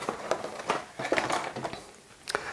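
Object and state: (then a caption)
Model kit box with loose parts inside. A Mr. Craft Val model kit box in Pearl Harbor colors, cardboard with plastic parts inside, is shaken. It gives a series of quick, light rattles and clicks. The plastic parts are loose inside the box rather than held in place.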